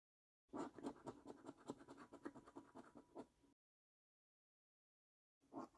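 A coin edge scratches the silver latex coating off a flat, thin cardboard £15 Luxury Lines National Lottery scratch card, held by fingertips as it lies on a dark wooden table. A run of quick, dry, papery scratching strokes lasts about three seconds, stops for a short silence, then resumes briefly at the end.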